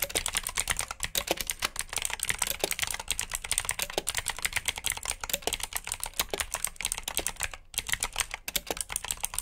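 Fingertips type steadily on a black plastic backlit mechanical keyboard with blue switches, producing a rapid, continuous stream of sharp, bright clicks. The keystrokes are dense and crisp with very short decay, and only a few brief pauses interrupt the typing.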